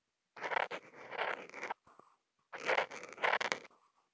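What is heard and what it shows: A black Posca marker nib, held in the fingers and picked up by a contact mic on the marker, makes short scratchy hatches and dots on a flat sheet of thick white Kent paper. Two bursts of dry, mid-range scraping with a bright hiss on top are separated by a brief pause with a few light taps. The strokes end abruptly with no ring.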